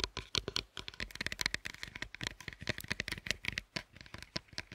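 Long acrylic nails tap and scratch the segmented top of two large solid dark chocolate bars stacked on a wooden board, then lift and handle the upper bar. The result is a rapid, irregular run of quiet, dry, bright clicks and scrapes that stop instantly with no ring, with a faint low knock under some taps.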